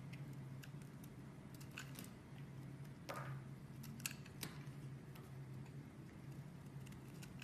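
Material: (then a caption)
Soap. A partly carved blue and white striped bar soap, held by fingers with long red nails, is scraped and sliced by a metal blade. Soft, dry scraping runs throughout, broken by short, crisp, bright clicks as pieces come off. A steady low hum sits underneath.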